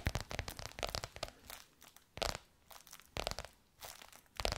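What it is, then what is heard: Textured faux leather cover tapped and scratched with nails. Long nails tap and scratch bronze-gold crocodile-embossed faux leather stretched over a curved hollow form. The result is a quiet run of crisp, crunchy clicks and scratchy rasps that come in clustered bursts with brief pauses between them. Each tap is dry and short, with a bright edge and a low hollow thump under it.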